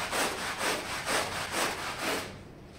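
A small red patterned wool pile rug full of foam, lying on a tile floor, is scrubbed with a long-handled push broom with plastic bristles. Five rhythmic, bright scratchy strokes sweep back and forth before the scrubbing fades out.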